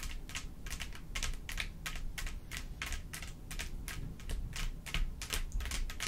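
Long pointed acrylic nails on both hands tap and scratch across a rhinestone-studded mat, a flat black backing densely covered with small clear faceted plastic gems, lying solid and flat on a table. The result is a rapid, irregular stream of short, bright clicks and scratchy rasps that die away almost instantly, over a steady low rumble.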